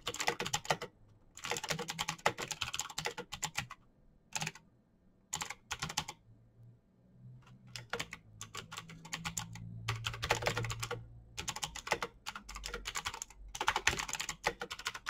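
Both hands type fast with their fingertips on a full-size, backlit plastic Razer BlackWidow mechanical keyboard with clicky green switches, resting on a desk. Dense, bright clicking bursts come in quick runs broken by short pauses, over a faint low hum.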